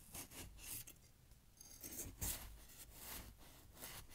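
A knife cuts and scrapes down through fresh snow packed in a glass jar. It makes a steady series of crisp, bright crunching and rasping strokes over a low rumble, with one sharper crunch near the middle.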